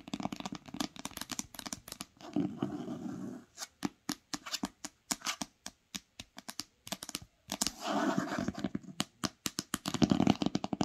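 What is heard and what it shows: Long acrylic nails and fingertips tap fast on the top cover of an old green cloth-bound hardcover book lying flat on a blanket. Quick, dry clicky taps come in rapid bursts, broken by a few longer stretches of softer scratchy rubbing across the cloth. Each tap dies away almost instantly.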